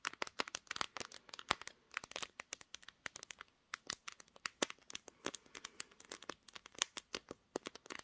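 Long green nails tap and scratch the hard, glossy pink glass back of a smartphone, which is seen in a mirror. Dozens of quick, sharp, bright clicks and ticks follow one another at an uneven pace, each dying away instantly with almost no low end.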